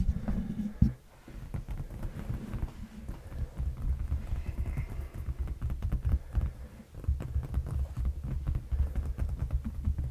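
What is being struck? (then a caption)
Padded leather sofa cushion. A large, dark, padded leather sofa seat cushion is tapped and scratched with the fingertips and short nails of both hands, close to a fluffy microphone. The result is a dense run of soft, muffled, deep thumps and rustling scratches. The sound is almost entirely low and dull, with a sharper hit early on and a brief quiet gap just before the seventh second.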